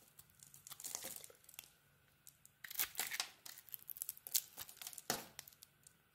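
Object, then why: Bar of soap cut with a small knife. A palm-sized bar of soap with a green glitter coating and a white interior is held in a hand and carved with a small metal knife blade, shaving off curls. Dry, bright scraping and crinkling strokes come in bursts, with quiet gaps between them and almost no low end.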